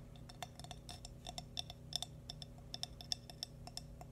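A small, hollow, glazed cream ceramic baby bootie is tapped quickly with fingernails, giving a rapid, irregular run of bright, high, glassy clicks. Each tap dies away almost instantly over a steady low background hum.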